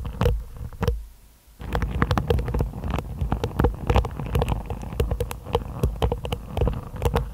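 Long nails scratch repeatedly over the tips of a hairbrush's black-and-white plastic bristles set in a wooden body. The result is a dense stream of quick, crackling ticks over a low, muffled rumble, with a brief near-silent pause about a second in before the scratching resumes steadily.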